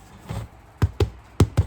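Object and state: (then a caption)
Baked-through bread loaf (hollow knock). A freshly baked loaf of bread, out of its pan, is knocked on four times, giving short, dull, hollow low thuds with almost no ring. The hollow sound shows the bread is cooked through.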